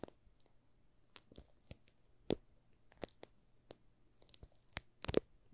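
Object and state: Plastic-wrapped soap bar.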